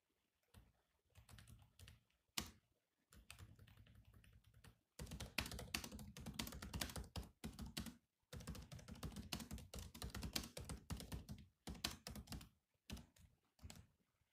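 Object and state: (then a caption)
Laptop keyboard typing. Fingertips of both hands type on the low-profile plastic chiclet keys of a grey metal-bodied laptop. Bursts of rapid, dry clicking come with a soft low thump under each keystroke and short pauses between runs. The clicks are quick and clicky, with almost no ring after each press.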